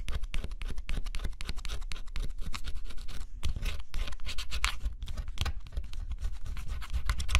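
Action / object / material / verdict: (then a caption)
scrape / cardboard scratch-off puzzle piece / cardboard / none. A fine stylus scratches in short strokes across a thin, flat scratch-off cardboard jigsaw puzzle, rubbing away the black scratch coat to reveal blue underneath. Close, dry, rapid scraping strokes run steadily throughout, each short with a crisp, bright edge over a low rumble.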